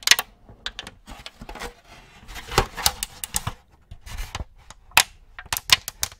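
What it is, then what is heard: Thin plastic tray, crinkling. An empty, thin clear plastic cookie tray is held in both hands while fingertips tap and press its molded cavities, crinkling it. The result is a quick series of sharp, bright clicks and crackles with very short decay, separated by brief quiet gaps.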